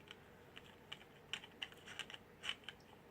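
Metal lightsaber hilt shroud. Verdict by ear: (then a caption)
Loose. A loose metal shroud on a Saberforge Outcast lightsaber hilt, fitted with a Proffie pixel install, rattles as the hilt is shaken, giving a series of light, bright clicks and taps. The shroud does not press against the part beneath it, so it moves freely, and foam tape is planned to fix it.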